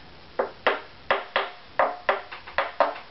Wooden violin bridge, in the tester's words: you hear the bridge is too low compared to the back